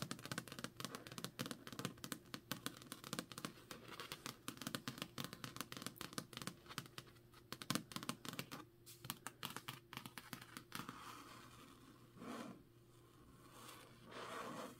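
Long nails scratch rapidly across the card cover of a thick, solid Jade City paperback held in the hand, making a dense run of dry, crackly scratches for about eleven seconds. The sound then eases into softer, broader rustling swells toward the end.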